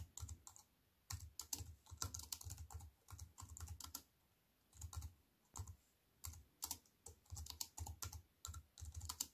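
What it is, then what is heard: Plastic computer keyboard being typed on. Fast typing with fingertips and long white nails on a compact wireless keyboard with black plastic keys in a thin aluminium frame, resting on a wooden table. Quiet, crisp clicks with low thuds come in quick bursts separated by short pauses, each keystroke dying away almost instantly.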